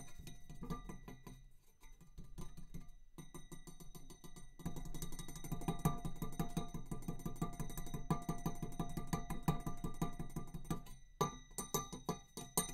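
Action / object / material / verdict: tap / metal tube / metal / none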